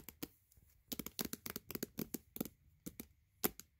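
Long white-painted fingernails tap and scratch the glossy paper cover of an Adventure Time Comics softcover book lying flat and face-up. About sixteen quick, crisp, dry clicks come in uneven bursts, each bright and cut off almost instantly with a faint papery scratch between them. The solid book gives the taps a tight, quiet sound with no hollow ring.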